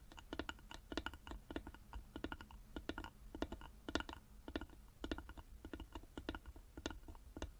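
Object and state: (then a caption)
Carved wooden box tapped with fingernails. Long fingernails tap rapidly on the sides of a small, hollow, carved wooden box held in both hands. Quick bursts of short, dry, clicky taps each carry a brief hollow knock around 300 Hz and die away almost instantly. The taps are quiet, over a faint low rumble.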